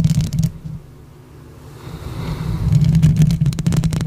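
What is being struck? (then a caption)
Metal mesh microphone grille. Long pink acrylic nails on both hands scratch and tap the hollow metal mesh grille of a silver condenser microphone. Rapid, dense scratching and tapping is heard at the start, fades to near silence in the middle, then returns in a thick, low, rumbling flurry. The clip ends with brief bright clicks.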